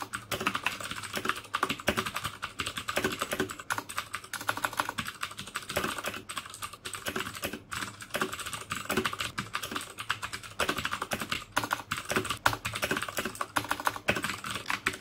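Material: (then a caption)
Plastic. Fingertips type steadily on the keycaps of a black plastic mechanical keyboard with clicky Cherry MX Blue switches for about 15 seconds. The result is a dense run of sharp, bright clicks with short, dry decays and little low end.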